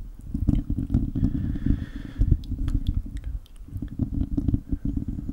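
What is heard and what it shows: A hollow, silver metal mesh microphone grille is gripped and scratched with the fingertips and short nails of both hands. The result is a dense, muffled rumble of low scratching, punctuated by quick dry clicks and faint bright ticks, continuing steadily for about five seconds.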